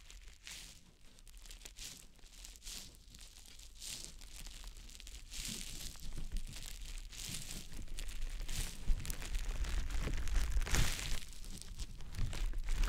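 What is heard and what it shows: A small, round, green konjac facial puff, soft, porous and damp, is held in the fingertips and rubbed and pressed against the silicone ear of a dummy-head microphone. It makes close, wet, crinkly squishing and rubbing sounds over a steady low rumble, with bright bursts of friction. The sound grows gradually louder across the clip.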